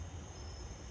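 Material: Nothing is struck.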